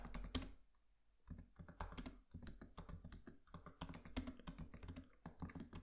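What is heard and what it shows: Fingertips of both hands tap on the black plastic keys of a MacBook Pro laptop keyboard set in an aluminium body. The result is a run of short, dry clicks with a low thud, interrupted by a brief pause before the typing resumes.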